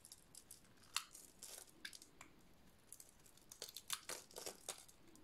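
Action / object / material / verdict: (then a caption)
scrape / painted soap bar / soap / none. A hand-sized, dry, solid red soap bar with a black dot-painted coating is held in one hand and shaved with a metal utility-knife blade, so curls fall off. The result is a quiet series of crisp, bright scraping and crunching cuts with short, dry rasps and almost no low end.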